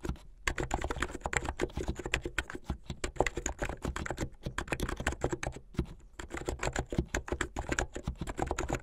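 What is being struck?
Plastic mechanical keyboard.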